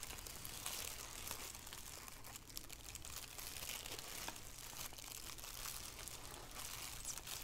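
A thin black plastic shower cap with a white elastic rim, empty and hollow, lies on a wooden table and is crinkled and rubbed with fingertips and long painted nails. It makes a steady, bright, dense crinkling with frequent sharp crackles over a faint low hum, staying quiet and even throughout.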